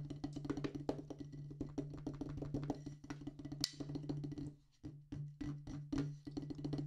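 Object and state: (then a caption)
Rubber drum practice pad. Two wooden drumsticks tap a solid black rubber practice pad on a wooden base in quick, dry strokes with almost no ring, over a steady low hum. The rapid patter briefly drops out before the taps return in separated strokes, then speeds up again, with one sharper, brighter crack partway through.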